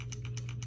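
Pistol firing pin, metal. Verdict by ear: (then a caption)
Free. A Glock pistol is shaken with its trigger pinned back during a function check, and its metal firing pin rattles in quick, bright clicking bursts over a steady low hum. The free rattle shows the firing pin is present and moving freely, as the check expects.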